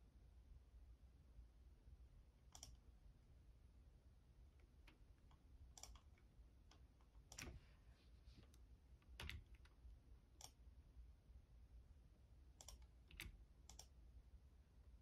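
Fingertips click the keys of a black plastic Logitech computer keyboard, and the hand moves to the arrow block at the end. Sparse, irregular, short bright clicks with very little ring sit over a quiet, steady low rumble.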